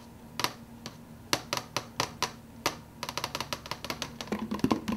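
Fingernails and fingertips tap the clear plastic lid of an empty, hollow plastic fountain-drink soda cup, making about twenty short, sharp, bright clicks that die away almost instantly. The taps start sparse and irregular, then quicken into a rapid, uneven patter over a faint steady low hum.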